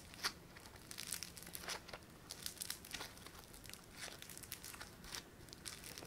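A palm-sized, solid lump of yellow foam-bead clay (floam) is flattened, stretched and pressed with thumbs and fingertips. This produces quiet, bright crackling and crinkling with dense clusters of tiny pops and a few sharper snaps. The pops rise above a faint low hiss throughout.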